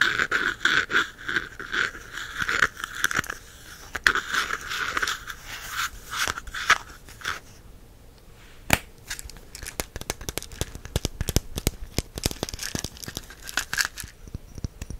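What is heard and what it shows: Fingertips and nails tap and scratch the top of a red ridged plastic cap on a small clear plastic jar filled with whole cloves. The first half is a dense run of dry scratching and crinkly tapping, centered around 1.5 kHz with bright edges. As the jar is turned in the hands, this gives way to a quieter stretch of sharp, separate clicks and taps.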